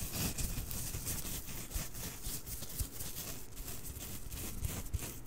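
Fingertips lightly rub and scratch a small, soft plush snowman of fuzzy fabric held in both hands right next to the microphone. A steady, close, soft scratching hiss with a bright top fills the clip, over a muffled low rumble with faint thumps from the handling.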